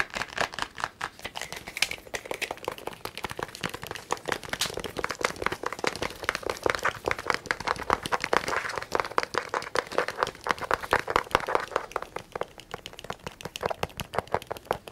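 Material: Plastic.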